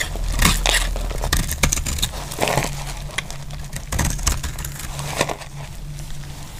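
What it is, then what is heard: Dry soap bar being cut. A metal blade scrapes and cuts slabs off a solid, dry green soap bar held in the hand. The result is irregular dry, crunchy scraping and crackling bursts with bright edges, over a steady low hum.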